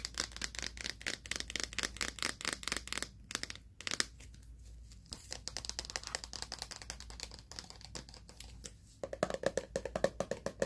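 Fingernails tap rapidly on the sides and black plastic lid of a mid-size hollow plastic pre-workout powder tub, likely partly full. The taps make bright, dry clicks that die away almost instantly, with a brief quieter lull in the middle. Near the end a hollow tone around 550 Hz rings under the taps.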